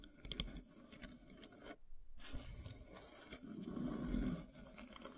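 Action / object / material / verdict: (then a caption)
scrape / wooden log slice with bark edge / wood / none. Long silver nails tap and scrape across a large, solid, flat slice of light-colored wood with its bark edge still on. Quick, dry taps and rough, scratchy scrapes with a low, dull body alternate, broken by a brief silent gap near two seconds. A louder, fuller scraping swell follows toward the end.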